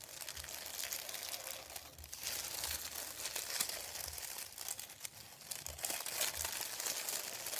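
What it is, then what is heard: Paper sheet. Fingertips tap and scratch a thin, white, folded sheet of printed paper lying on a wooden table. The result is a steady stream of bright, dry crinkling and scratching with quick, soft taps mixed in, most of the energy high in the range and very little low end.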